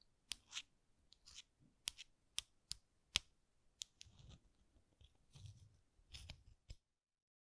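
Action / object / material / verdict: tap / small painted wooden ornament / wood / none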